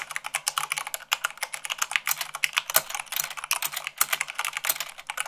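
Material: Plastic.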